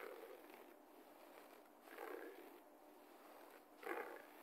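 Both hands claw and scratch the pile of a low-pile beige carpet floor with their fingertips and nails. The result is quiet, soft, raspy scratching that swells in a few slow strokes over a steady hiss. It is centred in the low midrange, with almost no deep bass and only faint bright texture.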